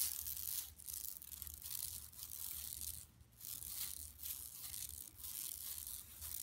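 Long nails scratch across an empty, flat yellow woven plastic mesh tote bag lying on carpet. The result is a soft, bright, hissy rasping that comes in repeated strokes with brief quiet gaps between them, over a faint low hum.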